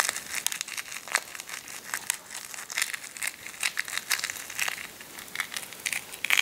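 A cracked hard-boiled egg is held in both hands while the thumbs press and rub it, crushing the cracked shell. The result is a dense run of dry, bright crackling and crinkling snaps with almost no low end, each one cutting off instantly.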